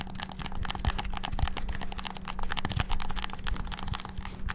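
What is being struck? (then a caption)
Plastic game controller buttons. Fingertips rapidly press the buttons of a white and black hollow plastic PS5-style gamepad, making a dense, fast stream of sharp plastic clicks and taps. The clicks blur together over a steady low hum.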